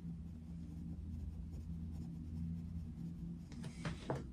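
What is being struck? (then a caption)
Coloured pencil on a paper colouring page. A dark wooden coloured pencil is rubbed repeatedly over a paper colouring book page lying on a desk, shading in an area. A steady low hum dominates beneath soft, scratchy strokes, and near the end a few brighter, sharper scratches stand out.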